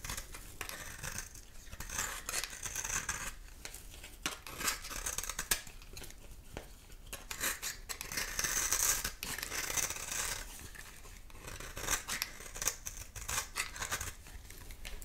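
A solid, dry pink-and-white oval bar of soap held in one hand is shaved and scraped with a utility knife blade, and pink shavings fall onto a pile of soap chips. The result is a steady run of dense, crisp, bright scraping and crackling strokes. Many short rasps blur together rather than standing apart.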